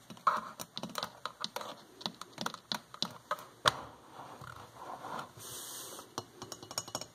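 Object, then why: Porcelain electric kettle with metal band. Long fingernails tap a hollow white porcelain electric kettle with a flower print and a metal band, its fill level unknown. About twenty quick, sharp, irregular clicking taps are heard, with a brief soft scratchy hiss near the end.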